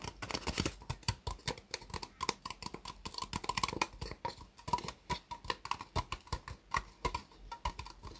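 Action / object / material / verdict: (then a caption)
tap / disposable plastic cup / plastic / none. Long nails tap and scratch the ribbed sides of an empty, hollow, white disposable plastic cup turned upside down. Dozens of quick, dry clicks ring out in an uneven rhythm, each with a light hollow tone near 1 kHz, mixed with bright scratchy rasps. Every hit dies away almost instantly.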